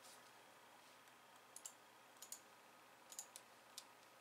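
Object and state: Plastic computer keyboard.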